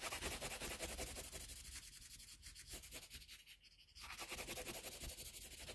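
A colored pencil in a metal extender, held in the fingers, scratches across a flat sheet of drawing paper on a table as it draws and shades an outline. The sound is a steady run of quick, bright, hissy rubbing strokes. It eases off and grows quieter around the middle, then picks back up at full strength.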